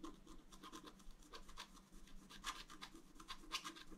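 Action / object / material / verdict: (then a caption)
scrape / wax-coated scratch-art paper scratched with a wooden stylus / coated paper / none. A wooden stylus scratches lines into a flat, thin, solid black wax-coated scratch-art card. Quick, irregular bursts of dry, bright scratching repeat throughout at a quiet level, each stroke cutting off sharply. A faint low hum sits steadily underneath.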